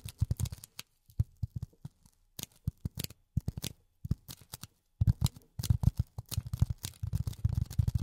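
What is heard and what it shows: A solid, rectangular dark grey polyethylene foam block, held in both hands in front of the mic, is tapped and scratched with long natural nails, with silicone rubber pads on the fingertips. Soft, dull, low thuds come in quick irregular clusters with brief pauses between them. A denser run of rubbing scratches and taps builds up toward the end, with almost no ring after each hit.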